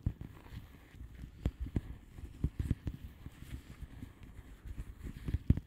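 Long nails on both hands tap quickly across the bubbles of a flat blue plastic bubble wrap envelope. The taps come as a quiet, irregular patter of soft, dull, low thuds with almost no bright content, each dying away almost instantly.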